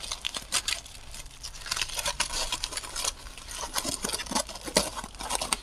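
A small, hollow, loosely packed crumpled aluminum foil ball is held in both hands close to the microphone while fingertips squeeze, crinkle and rub it. The result is a steady, bright crackling and rustling full of sharp little snaps, with a few louder pops standing out.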